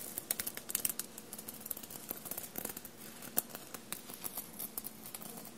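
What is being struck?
Cotton shirt covered in small metal sequins.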